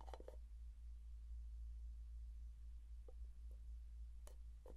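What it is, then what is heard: Plastic jar tapped. Fingertips tap the side and lid of a closed plastic Vaseline jar held near the microphone. Soft, faint clicking taps come and go sparsely over a steady low hum.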